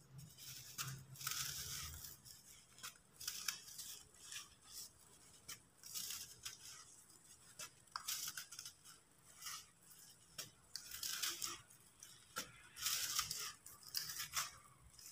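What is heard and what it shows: Fingertips break and rub pieces off a solid, dry sand-cement disc held in one hand above a bowl of loose crumbs, crumbling them into powder. The sound is a quiet run of bright, dry, gritty crunching and scratching bursts with little low end, and the pieces fall away as powder.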